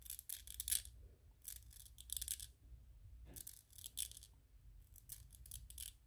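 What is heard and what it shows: Fingernails scratch and rub across a small white 3D-printed PLA plastic ghost toy. The result is quiet bursts of bright, dry, hissy scraping with short gaps between them, over a faint low background rumble.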